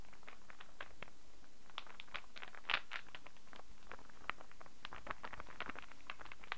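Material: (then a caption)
Wood. A small star-shaped puzzle of light, unfinished wood with solid pieces is turned in the hands, tapped and scratched with fingernails. The result is a quiet, steady patter of crisp, bright clicks and dry scratches over a low background hum, with one slightly louder tap near the middle.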